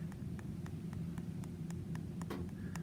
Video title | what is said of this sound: Using SnapshotNIR to track wound healing and the success of a Kerecis graft | if you were able to hear that I'm tapping out some exposed bone right now